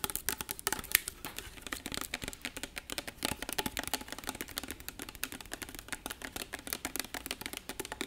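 Fingertips and nails tap and handle a tall, labeled glass bottle with a screw cap, held in both hands close up. A rapid, steady stream of short, dry, clicky taps sounds bright and crisp, with almost no ring and little low end, much like quick typing.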